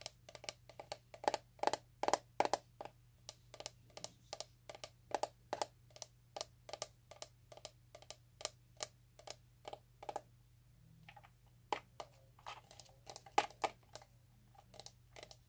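Fingertips and nails tap a small, hollow red plastic box with a round sticker, held in both hands. The taps are short, dry clicks with a hollow mid-range tone near 800 Hz, quick and irregular. A brief pause falls around 10 to 11 seconds before the tapping resumes.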